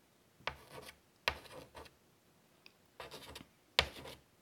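A hand draws with chalk on a large, flat black chalkboard in a light wood frame lying on a table, scratching it across the board's surface. Four bursts of dry, bright scraping each start with a sharp tap of the chalk, then trail off into shorter rasping strokes, with quiet pauses in between.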